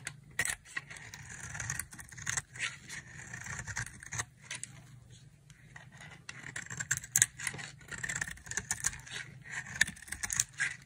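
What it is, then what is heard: Dry soap bar shaved with a blade. A solid, oval, palm-sized white dry soap bar is held in the hand and shaved into flakes with a utility knife blade. Repeated dry, crisp scraping strokes carry a bright, hissy texture with a tone near 1.9 kHz, each one cutting off quickly between bursts.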